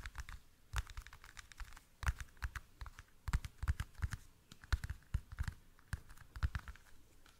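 Fingernails tap on a small, hollow, clear rectangular plastic toothpick case, including up close. The taps come as quick, irregular, dry clicks, each with a soft low knock beneath a bright tick and almost no ring, in bursts of varying loudness at a quiet overall level.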